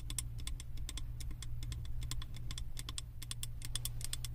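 Long acrylic nails tap rapidly against the side of a large glass candle jar filled with solid wax and printed with house designs. Each tap gives a short, bright click with almost no ring, over a steady low hum.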